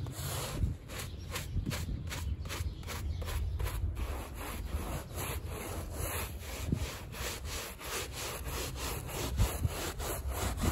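A gloved hand scrubs a small, wet, foamy fringed woven rug laid on a plastic sheet with a handheld stiff-bristle brush to clean off mud. Quick, rhythmic back-and-forth strokes produce a steady, low-heavy rasping scratch with bright, wet swishes on each pass.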